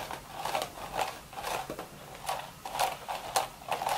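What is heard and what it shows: Long, sharp red nails scratch and scrape along the weave of a cream woven straw hat's hollow, empty crown. Repeated dry, rasping strokes swell and fade at an uneven pace, with a midrange body and bright hissy edges.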